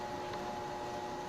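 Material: Nothing is struck.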